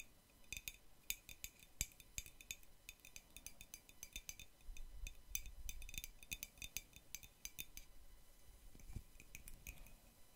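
Long nails fitted with metal paperclips tap and clink against the side of a hollow white ceramic mug with a red cartoon print. The result is a quiet, irregular run of sharp, bright clicks and clinks that die away almost instantly, over a soft low rumble.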